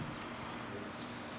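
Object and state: Nothing is struck.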